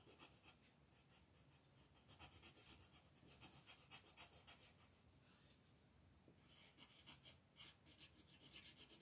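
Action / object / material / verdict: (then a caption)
scrape / wooden colored pencil on a paper coloring page / paper / none. A wooden colored pencil held in the fingertips rubs and scratches over a flat sheet of white paper printed with a mandala, lying on a table, with the other hand resting on the sheet. The continuous coloring strokes make a quiet, bright, scratchy rasp that pulses in quick, loosely regular back-and-forth bursts.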